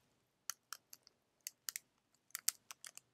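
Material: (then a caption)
Plastic laminate. A small, flexible, filled green printed plastic-laminate tea sachet, held in both hands, is crinkled and tapped with the fingertips. It makes a quick series of sharp, dry, bright crinkling clicks that die away almost instantly, with no low end beneath them.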